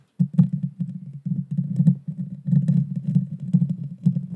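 Long dark fingernails of both hands scratch the hollow metal mesh grille of a Blue Yeti Nano microphone. The result is a dense, continuous low rumbling scrape centered around 180 Hz, broken by quick bursts and faint bright ticks as the nails catch the mesh.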